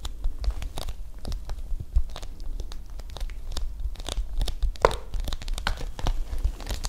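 Long nails scratch and tap the flat face of a large, flat, pale-blue Ojouvence packaging pouch made of coated paper or plastic film. The result is a dense run of quick, crisp clicks and papery scratches with bright crinkly highs over a low rumble.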